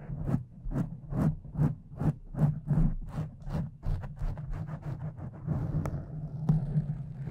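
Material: Foam.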